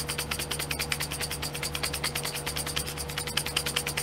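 Long painted nails tap and scratch across the lids of small clear domed plastic glitter pots set in a pink plastic tray. The result is a rapid, slightly uneven stream of short, bright plastic clicks and scrapes, each dying away almost instantly. A faint steady low hum sits underneath throughout.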